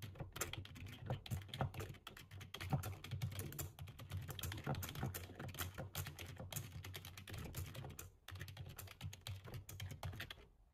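Rapid two-handed fingertip typing with short nails on a black low-profile plastic computer keyboard with a hollow body, resting on a table. A dense, steady stream of quick key taps with a hollow low thump and bright clicky edges runs throughout, with a brief pause near the eight-second mark before the typing resumes.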